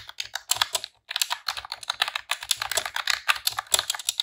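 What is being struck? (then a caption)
Plastic computer keyboard. Long press-on nails and fingertips type rapid key presses on a pink retro-style plastic computer keyboard with round keycaps. The result is a dense, bright clatter of short, crisp clicks with almost no low end, broken by a brief pause near the one-second mark.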